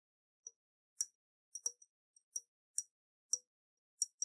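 Long nails tap a round, hollow glass jar with a metal lid, held tilted in the hands with water inside. A scattered series of very short, bright clicks and taps sounds with quiet gaps between them. Each tap has a high, glassy ping that dies away almost at once.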